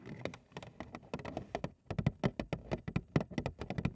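Long acrylic nails tap and scratch the front panel of a large, hollow, printed cardboard Frosted Flakes cereal box held upright in both hands. About 25 quick, hollow, low-pitched taps come in irregular bursts, each dying away almost at once, with faint scratching in the brief gaps.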